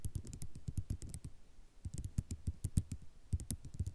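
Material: Ceramic.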